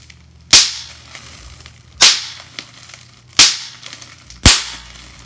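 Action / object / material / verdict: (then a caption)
strike / plastic bubble wrap / plastic / none. Clear plastic bubble wrap is pinched with the fingertips, and four sharp, bright pops snap out one at a time, each dying away quickly. Faint plastic crinkling and small ticks fill the gaps between the pops.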